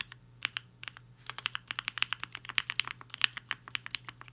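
Fingertips of both hands type on a black-cased HI-FINGER 7.5 75% mechanical keyboard with a hollow case and white and pink plastic keycaps, resting on a desk mat. About 28 quick, bright, clacky keystrokes sound at an uneven typing rhythm. Each one cuts off almost instantly, with a faint low hum underneath.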